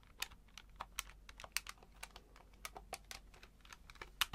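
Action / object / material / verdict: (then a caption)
tap / plastic calculator keys / plastic / none. A hand-sized grey plastic electronic calculator with an LCD display is held up in both hands while fingertips press and tap its plastic keys repeatedly. The result is a quick run of dry, bright clicks with almost no ring, some sharper than others, over a faint low hum.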